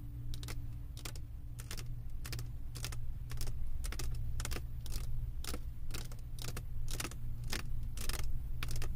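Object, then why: Resin drills on a diamond painting canvas board. Long acrylic nail tips tap rapidly on the resin drills of a flat diamond painting on a canvas board, making quick, bright clicks. A steady low hum runs underneath throughout.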